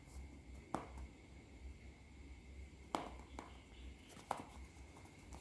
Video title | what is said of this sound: วิธีแพ็คไข่หอยส่งลูกค้า แพ็คยังไงไม่ให้เละ?? @KasetEasybymay | ไม่เคลื่อนไหวเลยค่ะแน่นมากไม่แตกนะคะ